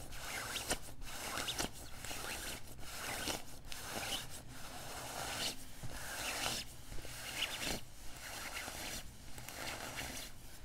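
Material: Nylon.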